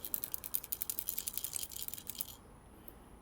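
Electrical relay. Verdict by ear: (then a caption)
Loose. The old relay from an Atwood water heater in a 2021 Prowler RV is shaken by hand, producing a rapid, bright rattle of loose parts inside that lasts about two and a half seconds before fading to quiet. The internal rattle marks the relay as bad.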